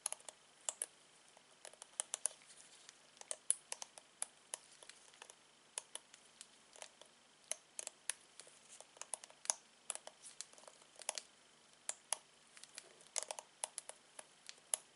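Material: Plastic.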